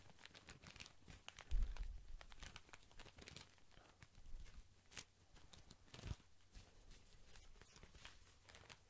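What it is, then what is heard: Plastic-wrapped cotton pad pack. Fingers squeeze and crinkle the thin plastic film around a tall white pack of soft cotton pads. The result is a steady run of soft crackles with bright, crisp edges, over a low, muffled thump from the squeezing. A louder squeeze stands out early on, and another comes later.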